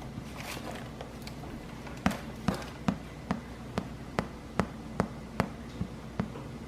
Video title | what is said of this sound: IRISH BUTTERMILK SODA BREAD ☘️ | the bread is done when you tap on it and it sounds Hollow